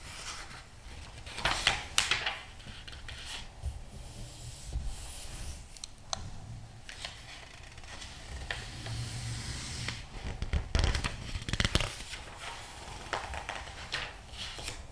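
Hands press, rub and turn the glossy paper pages of a thick magazine lying open. Soft, steady rubbing and squeezing sounds are broken by sharp, bright page flips and crinkles, with a low, dull rumble underneath.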